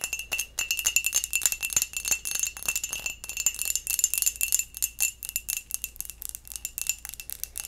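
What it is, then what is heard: Textured glass mug. A textured glass mug is tapped and scratched in quick, uneven bursts, giving bright, chime-like clinks. The sound is thin and high-pitched with almost no low end, and each tap dies away almost instantly.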